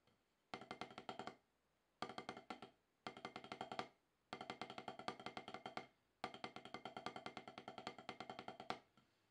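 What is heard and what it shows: Two wooden drumsticks tap out quick strokes on a solid octagonal HQ snare practice pad with a dark rubber surface. Five bursts of rapid taps are separated by short pauses. Each tap is a dry, short, woody knock, centered in the midrange with almost no low end.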